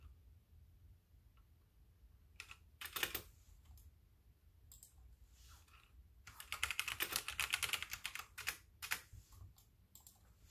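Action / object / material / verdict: tap / plastic mechanical keyboard / plastic / none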